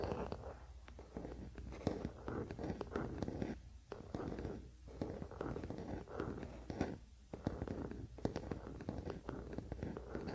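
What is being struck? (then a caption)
Wooden paddle hairbrush back. A wooden paddle hairbrush lies flat on a blanket while both hands scratch its wooden back with their fingernails. The result is a quiet, dense stream of dry scratching and tapping over a soft low rumble, with brief pauses in between.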